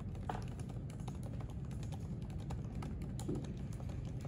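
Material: Plastic.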